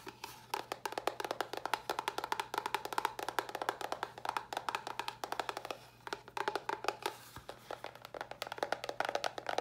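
Long nails tap rapidly and continuously on a small, hollow white cardboard box with a red top as it is turned in the hands. The taps are dry, hollow clicks that die out almost instantly, with a woody tone centered around 880 Hz. A faint steady low hum runs underneath throughout.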